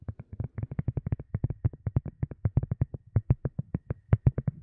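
Long nails tap and scratch a round white silicone cup lid, thin and hollow underneath, in a fast, steady run of 34 short taps. Each tap is a soft, dull, muffled thump with a low, hollow body and no bright ring, dying away almost instantly.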